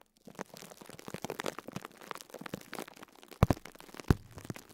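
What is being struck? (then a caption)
Foam sponge in plastic wrap. Fingertips repeatedly press and squeeze a small, soft foam sponge wrapped in clear plastic, crinkling the wrap. A dense, irregular run of soft crackles and low, muffled crunches continues throughout, with a few sharper, louder crinkles near the end.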